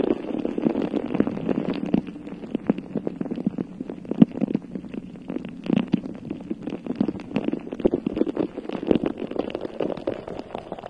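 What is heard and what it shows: Long nails on both hands scratch across a bare, hollow, round metal mesh microphone head. The result is a steady stream of dense, rapid scraping and rustling with a hollow, rumbling low-mid body around 220 Hz. Brief sharper scrapes rise out of it throughout.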